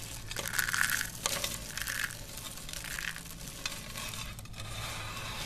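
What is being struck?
Soap shavings.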